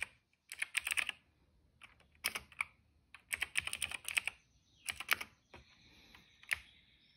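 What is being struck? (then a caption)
Plastic mechanical keyboard. Fingertips of both hands type on a retro-style cream plastic mechanical keyboard with black and purple keycaps. Quick runs of sharp, bright clicks come in bursts separated by short pauses, each keystroke dying away almost at once.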